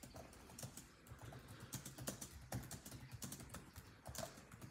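Fingertips of both hands tap rapidly on the dark plastic chiclet keys of a built-in laptop keyboard set in a grey laptop body. The result is a quiet, steady stream of soft keystrokes, with a muted low thump under each one and short, bright clicks that die away almost at once.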